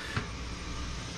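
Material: Nothing is struck.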